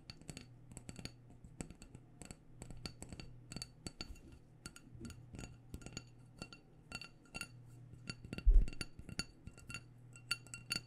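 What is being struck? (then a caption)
Wax-filled glass candle jar. A small black glass candle jar with a white paper label, filled with solid wax and held in the hands, is tapped over and over with long dark-painted nails. Dozens of quick, dry clicks with bright glassy tips die away almost at once over a steady low hum, with one louder tap near the end.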